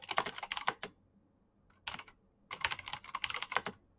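Fast fingertip typing by both hands on a black plastic backlit mechanical keyboard with clicky switches gives about 15 sharp, bright, clacking keystrokes that die away almost instantly. A quick burst of keystrokes is followed by a near-silent pause, a brief flurry of a few keys, and then another rapid run of typing.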